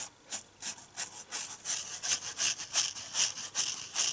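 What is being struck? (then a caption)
Foam kitchen sponge with abrasive scouring side. A red foam dish sponge with a green scouring side is held in both hands while fingers and nails scratch and rub its abrasive surface. A quick series of dry, bright, hissy scrapes comes at a fairly steady rhythm of about two to three strokes per second, with almost no low end. Each stroke fades quickly.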